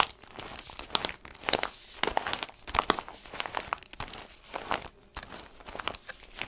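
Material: Paper and foil.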